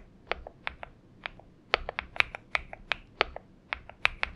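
Fingertip typing with both hands on a purple Xinmeng M71 mechanical keyboard with PBT keycaps. The keystrokes land as short, bright clacks at an irregular pace, each one dry with no ring and almost no low end, over a faint quiet background.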